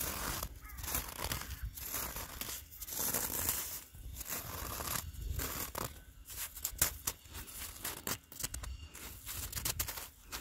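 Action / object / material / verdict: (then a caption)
scrape / granular snow surface / ice / none. Gloved fingertips scratch and rake coarse, granular snow on the ground that has turned to ice. The result is dense, bright crunching and crackling in uneven bursts over a low rumble, with short pauses between the raking strokes.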